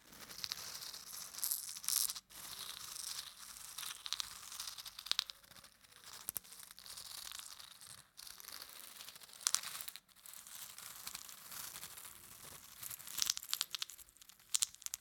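A small yellow cylindrical plastic holder packed full of wooden toothpicks is held in one hand while the fingertips of the other hand brush and scratch across the toothpick tips and handle the holder. The result is a dense, bright rattling and crinkly scratching with almost no low end, broken by a few brief pauses around 2, 8 and 10 seconds.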